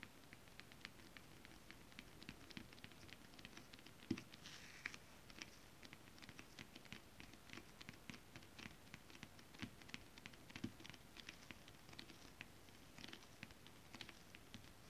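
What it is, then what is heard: Stretch fabric tapped with long nails. Long decorated acrylic nails, fingertips spread, tap on a flat piece of shiny holographic stretch fabric with a mermaid scale print laid over a surface. The result is a quiet, steady patter of many light, dry clicks with a bright edge and no ringing, over a soft low rustle.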